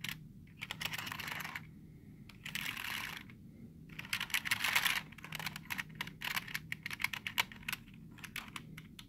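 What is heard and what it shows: Fingertips quickly tap the letter keys of a black plastic computer keyboard with hollow keys, producing rapid, bright, dry clicks with almost no ring. Between bursts of clicking come stretches of soft, hissy scratching across the keys.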